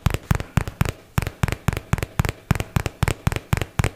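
A hollow white and teal paperboard product box, held in both hands, is tapped quickly with fingertips and nails. The result is fast, slightly uneven bursts of short, dull, low thumps with light clicky edges that die away almost instantly.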